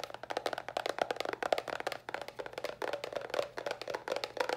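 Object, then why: Small cardboard box. A small, hollow white cardboard box held upright is tapped rapidly with long nails. The result is a dense run of short, dry, clicky taps with a hollow woody tone around 670 Hz and very little ring.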